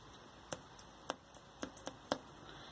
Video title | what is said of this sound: Geordie Giant Veg end of July update | It feels like it's full of water. I'll just tap it. Hollow squidginess